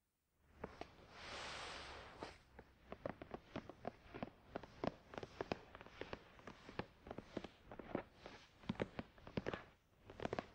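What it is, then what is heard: Cardboard box tapped. A closed, hollow, glossy black printed cardboard product box for a Tascam DR-100mkII, lying flat on a towel, is tapped and scratched with the fingertips of both hands. A soft, breathy scratching swell comes first, followed by a long run of quick, dry, hollow taps with very short ring.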